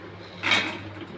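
Homemade namak pare, a fried flour snack, are dropped into a bowl and land with a bright, crisp clatter that fades quickly over a low steady hum. The sharp sound shows they came out flaky and crunchy.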